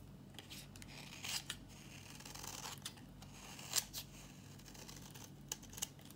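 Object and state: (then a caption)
Dry bar soap being shaved. A thin, solid, dry yellow bar of soap held in the palm is shaved with a metal utility blade. The clip is quiet, with a faint low hum underneath and a string of crisp, bright scraping and cutting strokes. The sharpest strokes snap out near 1.3, 3.8 and 5.5–5.9 seconds.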